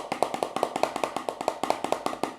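A KORG CM-400 contact mic clipped to the cardboard box it came in picks up quick taps and knocks on the box. The hits are short and dry, about 18 in a quick, uneven rhythm, with a hollow midrange tone and almost no ring. No voice is picked up.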